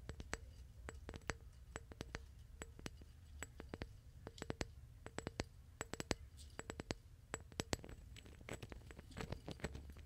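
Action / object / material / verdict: tap / glass vase / glass / none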